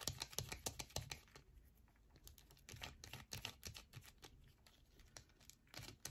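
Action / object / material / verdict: scrape / bar of soap / soap / none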